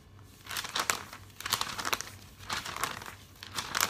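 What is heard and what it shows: A hand turns and flaps the pages of a thick glossy paper catalog, producing crinkling. Bursts of bright, papery crinkle and rustle come in uneven clusters over a quiet background, with little low end.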